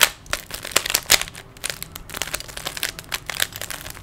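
Fingertips quickly turn the layers of a small, solid plastic 3x3 Rubik's cube. The result is a rapid, irregular run of short, dry, bright plastic clicks and crinkly scrapes with almost no low end.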